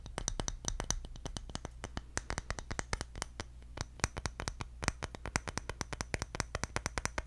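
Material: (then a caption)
Bamboo. A round, palm-sized bamboo jar lid with engravings, flat with a rim, is held in one hand and tapped with the fingertips of the other. The result is a fast, steady run of short, dry clicking taps with a bright edge that die away almost at once, over a low, steady hum.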